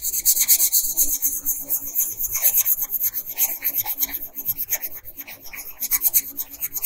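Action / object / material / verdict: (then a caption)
scrape / wooden colored pencil on a paper sheet / paper / none. A pink wooden colored pencil rubs and scratches across a flat paper coloring page, shading in the bodice of a drawn dress. Quick, uneven back-and-forth strokes, roughly three per second, make a bright, dry, hissing scratch that swells and fades with each pass.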